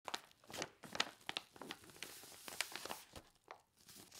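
Long painted fingernails press and rub across a flat, medium white paper mailing envelope with bubble padding, apparently empty or holding a thin item, lying on a striped cloth; then both hands lift and flex it. Quiet, bright crinkling and crunchy tearing-like rustles come in short bursts with little low end and almost no ring.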